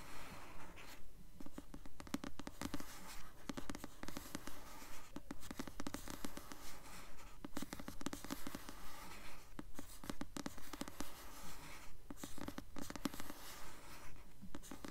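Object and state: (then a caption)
Paperback book, cover scratched with nails. Long nails slowly scratch the glossy paper cover of a solid blue paperback novel, "Delirium," held upright. Quiet, dry scratching strokes repeat in a steady rhythm, a little over two per second, with a soft low tone.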